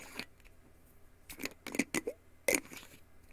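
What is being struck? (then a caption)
Small glass jar with plastic screw lid. A small, hollow clear glass jar with a black plastic screw lid is held in both hands while fingertips and nails tap and scratch along its glass sides and lid. Quiet stretches are broken by short, bright clicks and crisp scratchy taps that stop almost instantly, with a few louder ticks clustered near the end.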